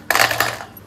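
Freshly fried shankarpali, sweet flour biscuits made with ghee, are dropped onto a plate and give a bright, crisp clatter. Distinct impacts land at about 0.1 s and 0.4 s, with a quick rattle trailing off by 0.6 s. The sound confirms they are crisp and well fried, a first-class flaky biscuit that comes apart in layers.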